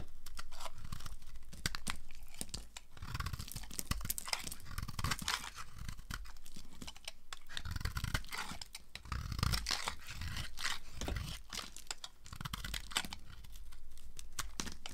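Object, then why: Bar of soap cut with a blade. A utility knife blade slices brittle pink flakes off a solid, hand-sized, rectangular bar of dry pink soap with embossed lettering. The result is a dense, irregular run of quick, dry crunching and scraping cuts, with bright crackle over heavy low thumps.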